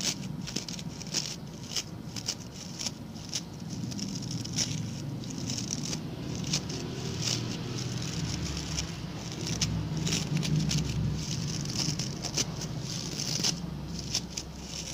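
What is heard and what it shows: Fingertips and nails scratch the stiff brown bristles of a small, round, ring-shaped coir (coconut fiber) brush held by its pink handle. The result is a steady, dense crackling and scratching with bright, hissy bristle noise over a low rumble. The scratching swells slightly in the middle of the clip.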